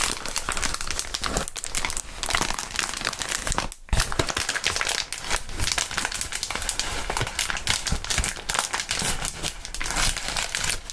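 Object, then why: Plastic bubble wrap. Clear plastic bubble wrap is rubbed on a mat, then lifted and crumpled by gloved hands. The result is a dense, continuous crinkling and crackling that stays bright across the highs, with a low rustle underneath. There is one brief near-silent gap just before the 4-second mark.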